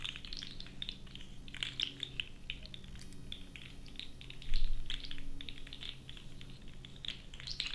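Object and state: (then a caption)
Plastic articulated slug toy. A blue, hollow, segmented plastic fidget slug toy about a hand's length is held in both hands while fingertips with long orange-painted nails squeeze, twist and rub its segments. This makes a continuous stream of small, bright clicks and crunches over a low steady hum. The clicks grow louder and denser partway through.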